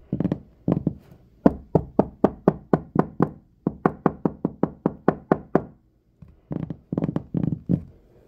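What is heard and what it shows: Fingertips and medium-length nails of both hands knock and tap directly on a large, solid wooden tabletop with a few crumbs on it. The result is bursts of short, dry, dull knocks with a low-mid body and almost no ring, mostly evenly paced, separated by brief pauses.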